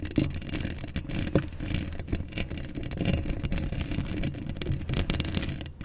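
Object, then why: Steel mesh microphone grille. Long acrylic nails scratch across a hollow steel mesh microphone grille, making a steady, dense scraping rasp with a heavy low rumble underneath. Bright, crackly scratches flicker on top, and there are a few sharper scrapes near the start.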